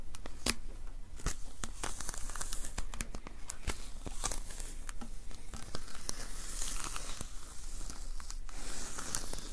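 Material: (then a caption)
Adhesive paper. Fingertips and palms pat and rub the sticky paper roll of a handheld lint roller with a white plastic handle. The result is a steady stream of quick, sharp tearing and crinkling peel sounds, with bright crackles over a low, dense rumble.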